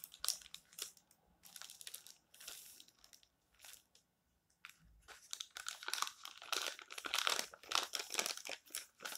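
Spread fingers and palms rub and crumple the pages of an open, thin paper tabloid magazine lying flat, then a page is turned. Bright, irregular bursts of crinkling and rustling fade to near silence around the four-second mark, then return denser and louder through the end.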